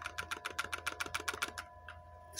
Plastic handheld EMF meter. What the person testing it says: il y a quelque chose qui bouge à l'intérieur